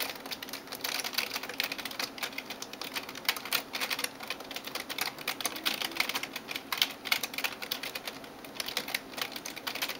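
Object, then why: Plastic computer keyboard keys. Fingertips and nails type rapidly on the keys of a backlit plastic gaming keyboard. The result is a dense, continuous stream of bright, dry plastic clicks and taps with almost no low end. Each click dies away almost instantly.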